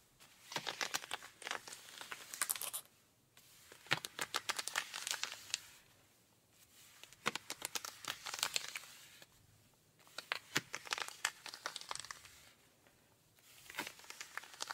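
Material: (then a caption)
Denim. Rubber-gloved hands scratch and rub the knee and thigh fabric of denim jeans on a raised leg. The result is five bursts of dry, bright, rapid scratching and rasping separated by brief near-silent pauses, with almost no low end.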